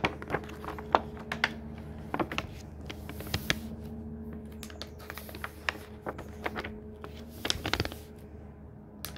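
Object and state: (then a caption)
Paper pages of a hardcover book. A hand strokes across a paper page of a thick hardcover book, then the pages are flipped over. Soft brushing and rustling are broken by sharp, brief papery snaps and flutters, over a quiet steady low hum.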